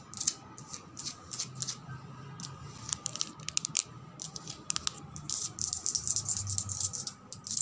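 Long red nails tap and scratch across the top surface and edge of a thick, solid white-grey veined marble slab. Quick, dry, bright clicks and scraping ticks come in irregular bursts with almost no ring, over a faint steady mid-pitched hum and a quiet low rumble.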